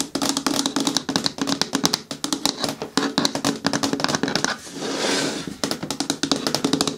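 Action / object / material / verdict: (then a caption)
tap / hard plastic bin with lid / plastic / none. Long nails tap rapidly on the lid edge and side wall of a hollow, hard green plastic bin with a lid, turned on the table. The taps are dry, short and bright with almost no ring, running in quick bursts with a hollow tone, and a brief continuous rasping sweep breaks in around the five-second mark before the tapping resumes.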